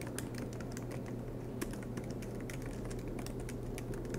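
Both hands type continuously with their fingertips on the low-profile black plastic keys of a silver MacBook Pro laptop, its keys set in an aluminium body and resting on a desk mat. The result is a steady stream of soft, light, quick-decaying taps with bright clicky edges over a constant low hum.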